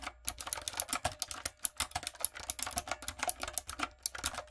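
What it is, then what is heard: Plastic mechanical keyboard. A typewriter-style plastic mechanical keyboard with round plastic keycaps and a light-up design is typed on with fingertips and long acrylic nails. Quick, bright, clicky keystrokes follow each other in dense bursts, each one dying away almost at once with almost no low end.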